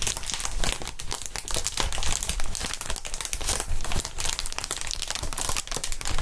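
Gloved hands squeeze and crinkle a clear plastic inflatable air-column packaging sheet, hollow and air-filled and bent into a curve. A dense, steady stream of crisp crinkling and crackling rides over soft low thumps and bright rustling hiss for the whole clip.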